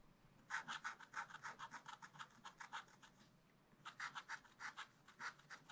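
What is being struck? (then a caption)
Black-coated scratch-art paper card scratched with a wooden stylus. A wooden stylus scrapes the black layer off a thin black-coated scratch-art card in a spiral book lying flat, working in small strokes around a panda. About 29 quick, dry scratches come in two rapid bursts separated by a short pause, with a papery rasp centered around 1.5 kHz and a bright hiss.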